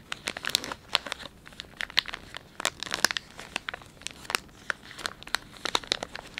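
A soft, hand-length flexible plastic film pouch of Dettol wet wipes, filled with wipes, is held in both hands and squeezed and crinkled with the fingertips while a fingertip runs along its resealable flap. Dense, bright crinkling comes as a rapid series of sharp, dry crackles with almost no low end.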